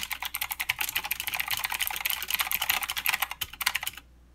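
A mechanical keyboard with plastic keycaps and clicky blue switches is typed on quickly with the fingertips of both hands. A rapid stream of sharp, bright clicks with very short ring continues for about four seconds, then stops, leaving near silence.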